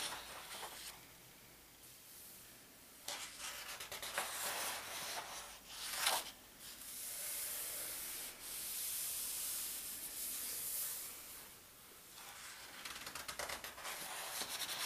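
An open palm and fingertips rub across the thin paper index pages of a large open atlas, then flip a page. Soft, bright, hissy rubbing and brushing sounds rise and fall throughout, with a sharper papery swish near the middle and almost no low end.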